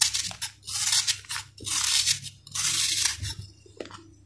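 A steel knife shaves and cuts a solid, dried sand-cement ball, breaking off crunchy crumbs. Bright, gritty scraping bursts come in repeated passes, ending with a few faint crumbling clicks.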